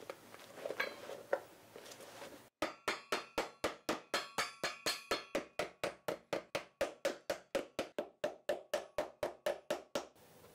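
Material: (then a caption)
Rubber. A new black ridged rubber sole glued onto a leather shoe resting on a stand is pressed by hand and then struck with a hammer. A few seconds of soft scuffing and rustling give way to a steady run of about 30 sharp, dry hammer knocks. The knocks come roughly four per second, each with a woody mid-range tone and a bright click that dies away almost instantly.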